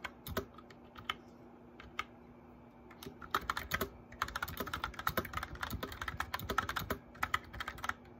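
Fingertips with medium nails type on a white plastic mechanical keyboard with lit keycaps. A few scattered, sharp clacks with bright, short-lived clicks give way after about three seconds to a steady run of rapid keystrokes. A faint low hum sits underneath throughout.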